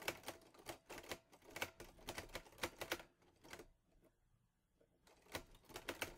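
Fingertips of both hands type on the keys of a green metal Underwood Olivetti Lettera 22 portable manual typewriter. Rapid, sharp, bright mechanical key and type-bar strikes clack in quick bursts, with a brief quiet pause before the typing resumes.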